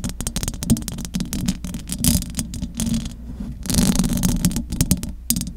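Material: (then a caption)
Metal mesh. Long acrylic nails scratch the top of the metal mesh grille on a large silver condenser microphone. The result is a dense, continuous run of scratchy rattling with bright crackling bursts over a steady low hum. The scratching swells louder in the middle and toward the end.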